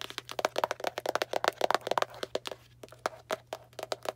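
Long black nails tap and scratch a small Arm & Hammer cardboard baking soda box in quick, irregular bursts. About two dozen short, dry, crackly clicks stop almost instantly, with a papery scrape between some of them. The busiest stretch comes in the first two seconds, and the taps thin out afterward.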